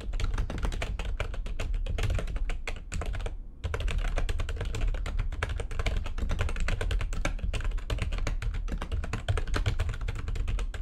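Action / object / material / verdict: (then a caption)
tap / plastic computer keyboard keys / plastic / none. Fast typing with long painted nails on a backlit plastic computer keyboard produces a dense, steady stream of quick clicky taps. The clicks carry a strong low thump beneath their bright edges, with one brief pause just past the three-second mark before the typing resumes.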